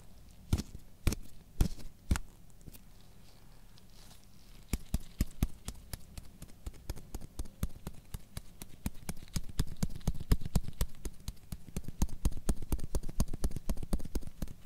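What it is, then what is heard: Electric shaver foil head, tapped. A gloved fingertip taps on the silver metal foil head of a handheld electric shaver with a pink plastic body, held close above the recorder. A few spaced taps and a short quiet pause lead into a long run of quicker, uneven tapping. Each tap is a dull, low thud with a brief bright click that dies away almost instantly.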